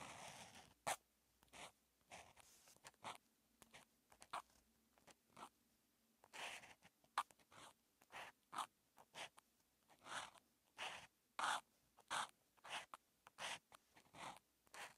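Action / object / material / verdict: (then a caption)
scrape / felt-tip marker on a paper notebook page / paper / none. A hand-held felt-tip marker writes Chinese characters on a paper grid notebook page near its bound edge, its strokes scratching across the paper surface. About 33 short, bright, scratchy strokes come in an irregular rhythm, separated by brief pauses of near silence.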